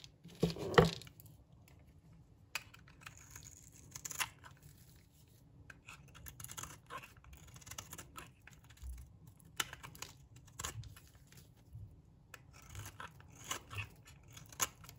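A metal blade scrapes flakes off the surface of a solid, dry pink bar of soap held in the palm. Quiet, dry, scratchy scraping strokes come in irregular bursts, with a louder crackly burst near the start and sharp, bright ticks scattered throughout.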